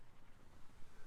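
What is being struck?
Nothing is struck.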